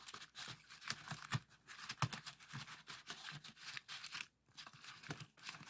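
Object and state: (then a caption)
Folded paper pop-it toy. A heart-shaped origami pop-it folded from colored paper, held on a table, has its hollow folded paper cells pushed and popped by the fingertips of both hands. Quick, irregular crinkly paper pops and crackles follow one another closely, each a dry, bright snap that dies away almost at once.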